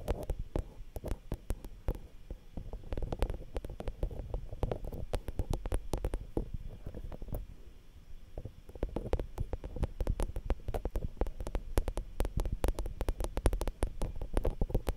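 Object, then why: Metal mesh microphone capsule grille. Long fingernails tap and scratch directly on the X/Y metal-grille microphone capsule of a Zoom H5 handheld recorder. The result is a rapid, dense stream of sharp clicks over deep, muffled low-frequency thumping and rumbling.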